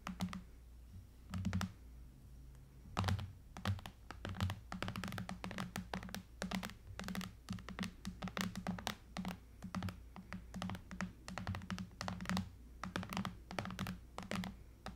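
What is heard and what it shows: Long nails scratch and tap along the aluminum frame and glass screen of a silver iPad lying flat. The result is a dense, irregular run of short, sharp clicks and taps with brief scratchy strokes over a steady low hum.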